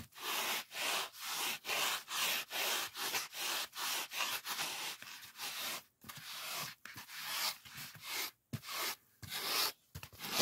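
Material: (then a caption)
Polyethylene foam. Fingertips rub and scratch a white polyethylene packing foam sheet resting on a table. The result is a steady run of bright, dry, squeaky-rustling strokes, each a short burst with brief gaps between them and almost no low end. The strokes come in a loose rhythm that speeds up and turns more uneven toward the end.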